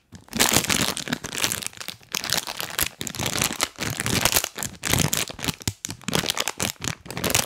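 A full, printed crinkly plastic bag of chocolate cookies is held in both hands close to the mic and squeezed, rubbed and tapped with rubber toy hands worn on the fingers. Bright, dense crinkling and crackling comes in uneven bursts with brief quiet gaps, some soft low thumps under the rustle.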